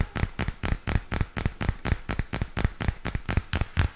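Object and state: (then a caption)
Spiral notebook with plastic cover. Fingernails tap and scratch along the plastic cover and edge of a purple spiral-bound notebook held up in both hands. A quick, uneven run of short, dry, dull taps follows, each dying away almost at once, with faint scratchy rustling between them.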